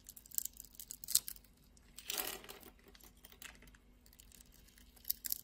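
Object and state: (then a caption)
Glycerin soap bar being scraped and cut. A solid, translucent pink ribbed glycerin soap bar held in the palm is scraped and cut with a utility knife blade. Quiet, bright, crisp ticks and crackles come in bursts, with a longer rasping scrape in the middle. Each cut ends almost instantly with no ring.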